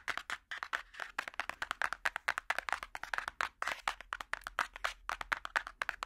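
A large, solid hardcover children's picture book with a cardboard cover is held flat and tapped with metal finger picks. The quick, irregular run of sharp, clicky taps centers around 1–2 kHz, with almost no low end and no ring after each strike.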